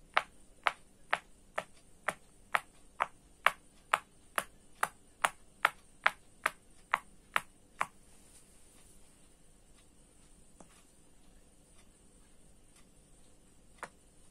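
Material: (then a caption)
Silicone. Fingertips press and pop the hollow bubble domes of a round orange silicone pop-it fidget toy, thin and flexible, lying on a light table. Eighteen short, crisp snapping pops come one after another at a steady pace, each dry with almost no ring and centred around 1.2 kHz with a bright edge. After a quiet pause, one more pop lands near the end.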